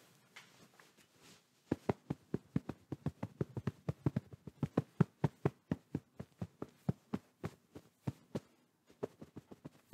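Fingertips and open palms pat and rub a medium, soft white pillow in a quilted fabric case, held up in front of the microphone. Soft, faint rubbing comes first, then a steady run of some three dozen quick, muffled low thumps with no ring. After a brief pause near the end, a few more pats follow.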